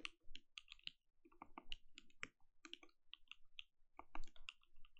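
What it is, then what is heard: Mechanical keyboard with plastic keycaps. Continuous fingertip key presses on a compact mechanical keyboard with plastic keycaps and a glowing case produce a quick stream of soft, clicky taps. The strokes land in irregular bursts, each a short, dry click with a bright edge over a low thud.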